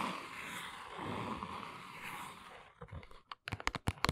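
Long nails tap rapidly on the sides and edges of a small brown cardboard box standing on its end. A steady, scratchy papery rustle fills the first two and a half seconds, then gives way to a quick series of sharp, dry, hollow taps that die out almost instantly.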